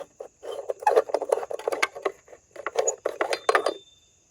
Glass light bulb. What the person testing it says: Give it a shake and it rattles.